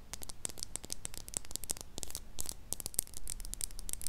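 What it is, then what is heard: Plastic lip gloss tube. Long nails rapidly tap and scratch along a closed plastic lip gloss tube filled with pink liquid and topped with a white cap, held horizontally in front of a mini microphone. The result is a dense stream of crisp, bright clicks and scratchy rustling that sound close and dry.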